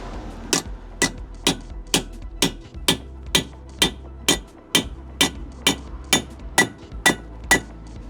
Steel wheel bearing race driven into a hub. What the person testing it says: Wait for the noise change. Did you hear that again? That is how you know it's home.